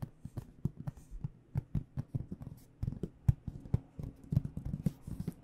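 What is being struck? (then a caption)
Aluminum-framed hard case. Long dark-painted nails tap and lightly scratch across the front panel of a hollow AKG microphone hard case with an aluminum frame and black panels, held upright. The result is a quiet, rapid, uneven run of dull, hollow low knocks around 125 Hz with very short decay, mixed with faint scratchy rustles between the taps.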